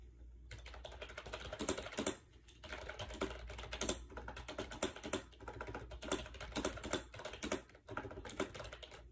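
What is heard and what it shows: Fingertips rapidly type on a compact gray plastic AJAZZ 308i wireless Bluetooth keyboard with round keycaps and a hollow shell, resting on a bed. Quick, light, clacky taps run in dense bursts, with a short pause near the two-second mark and a brief dip near the end. Each key stroke sounds hollow and plasticky and dies away almost at once.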